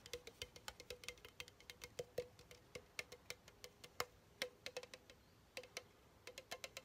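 A pink Chupa Chups soda can, hollow aluminum with its pull-tab top, is tapped with fingertips and nails around the side and rim. About forty quick, light taps sound in an irregular patter, each a short, bright tick with a faint hollow ring near 490 Hz that dies away almost at once.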